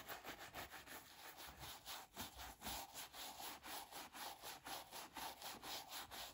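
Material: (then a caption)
Leather. A round wooden brush with white bristles is rubbed in brisk strokes over the upper of a brown leather brogue derby shoe fitted with a wooden shoe tree. The clip is a steady run of scratchy bristle swishes, about two strokes per second, with most energy in the bright range.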